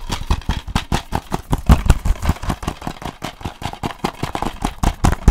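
Fingertips tap rapidly on a closed, hollow plastic DVD case with a sleeve, held upright in one hand. About 28 quick, unevenly spaced taps make dull, low, hollow clicks that die away almost instantly.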